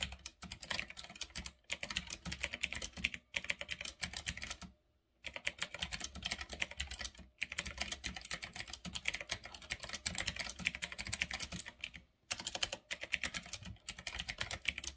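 Fingertips type fast on a full-size retro typewriter-style mechanical keyboard with round black plastic keycaps on a metal-look frame. Dense streams of sharp, bright clicks run throughout, with brief pauses near 5 and 12 seconds.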